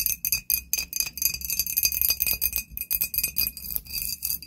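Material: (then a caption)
Glass. A glass bottle is tapped rapidly with nails, producing bright, high glassy clinks at roughly four per second in an uneven rhythm. Each tap rings only briefly, with a faint steady ringing tone underneath.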